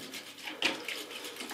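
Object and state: Liquid sealant sloshing inside a bicycle tire.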